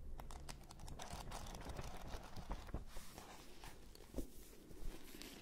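A thick red-covered paperback book has its pages riffled by thumb close in front of microphones. It gives a quiet, continuous papery fluttering with crisp, bright ticks as the pages flick past, over a soft low rumble.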